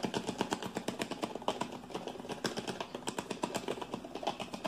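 Fingertips and nails rapidly tap and grip a hollow, hand-sized green plastic shampoo bottle that appears partly filled. The result is a quick, irregular stream of dry, clicky taps, about four per second, with short hollow plastic knocks and scratchy crinkles over a mid-range body.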